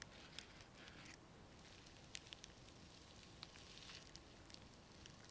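Long nails scratch and tap the plastic sequins covering a small round disc held in both hands. The result is a quiet, steady, bright crackling hiss, broken by sharp, short clicky taps that ring only briefly.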